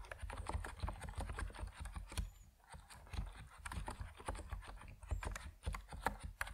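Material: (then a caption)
PBT plastic. Fingertips of both hands type steadily on an Epomaker NiZ Plum Atom 68, a 68-key compact mechanical keyboard with white and purple PBT plastic keycaps on a white case, resting on a wooden desk. A quick, uneven stream of short, muted keystrokes with a deep, low body and bright little ticks on top runs throughout, with a brief lull just before the three-second mark.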